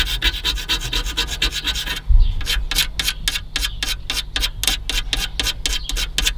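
Fingertips and nails rub and scratch an aged, crumbling white foam seal strip on the top edge of a car's aluminum radiator, and bits crumble off. A fast run of dry, bright scratching strokes gives way after a brief low thump to slower, separate rasping strokes over a steady low rumble.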